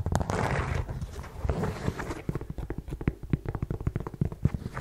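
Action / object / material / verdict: tap / suede block-heel ankle boot / suede / none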